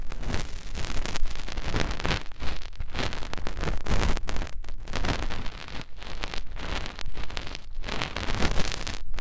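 A fingertip rubs and presses into the canal and along the folds of a white silicone binaural microphone ear. The result is a close, continuous scratchy rustle with dense, muffled, low thumps and crackles throughout.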